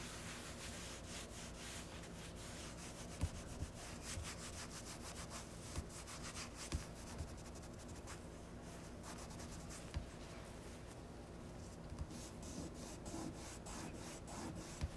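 A hand wipes a white painted wooden kitchen cabinet drawer front, a solid panel with a metal knob, using a folded cloth in rubbing strokes across its face. A steady, soft, low-heavy rubbing hiss runs throughout, punctuated by about nine brief, sharp clicks or taps.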